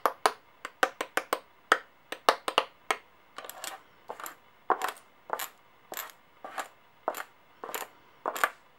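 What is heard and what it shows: Long dark-painted fingernails pick up small, solid, brass-colored and silver metal coins from a white clipboard and tap and click them against each other and against the coins lying flat. The result is an irregular series of sharp, bright metallic clicks with a brief ring and no low end, with a few softer, clustered clinks in between.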